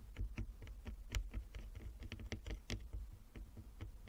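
Long fingernails of both hands tap rapidly across a flat wooden chess board with inlaid squares, producing a quiet, irregular patter of crisp clicks. Each tap has a bright edge over a soft, low thud and dies away almost instantly.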